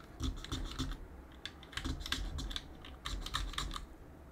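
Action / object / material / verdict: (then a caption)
tap / mechanical keyboard with plastic keycaps / plastic / none. A gloved hand runs a cotton swab near the space bar of a backlit mechanical keyboard and presses its plastic keycaps. The result is a series of crisp, bright key clicks and taps, each with a low thump and a short decay.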